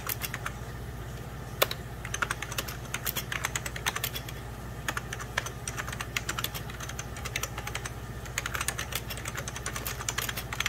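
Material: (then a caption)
Plastic. Fingertips and short nails type rapidly on a full-size 90s Packard Bell keyboard, its beige plastic keys set over a hollow plastic case. Quick, bright plastic clicks tap in uneven bursts over a steady low hum, each click dying away almost instantly.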